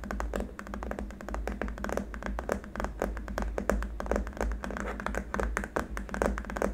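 A long, flat, solid white hard-plastic keyboard wrist rest is tapped rapidly with the fingertips and short nails of both hands. The result is a dense, uneven stream of short, dry clicks that die away quickly, over a steady low hum.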